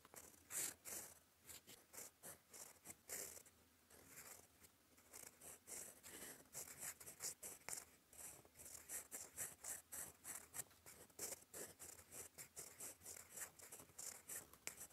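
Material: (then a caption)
Paper. A gold fountain pen nib writes cursive strokes in black ink on a flat, lined cream paper sheet. Quiet, bright scratches come in quick, close bursts as the nib drags across the paper, with almost nothing in the low end.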